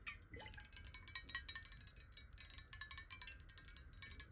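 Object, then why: Glass bottle with water. Long nails tap rapidly on the sides and base of a clear, hollow square glass bottle holding water, tilted in the hand. The taps are quick, bright glassy clinks with short rings around 1.9 kHz, over a quiet low rumble.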